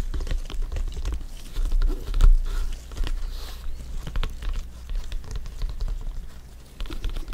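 Fingers in black gloves tap and rub a full-size, inflated, hollow soccer ball with stitched synthetic leather panels. The result is a quick, uneven patter of soft, dull taps with a hollow, boomy low thump under them, mixed with faint scratchy rubbing. Each tap dies away almost at once.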